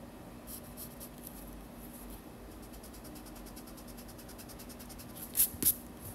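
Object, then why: Graphite pencil on sketchbook paper. A yellow wooden graphite pencil is drawn lightly across a white paper page of a large spiral-bound sketchbook lying on a desk, making soft, bright scratching strokes as it sketches lines. The quiet, rhythmic scratching runs throughout over a faint low hum and ends with two louder, sharper strokes.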